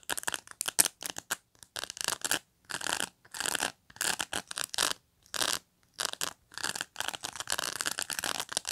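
Fingernails scratch and flick the bristle rows near the edge of a black pet brush with dense plastic pins. The result is a run of dry, bright, crackly scratching bursts: quick short flicks at first, then longer raspy strokes separated by brief silences. There is almost no low end and no ring after each stroke.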